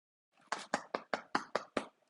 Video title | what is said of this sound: My VIP Sourdough Process | you hear that nice Hollow sound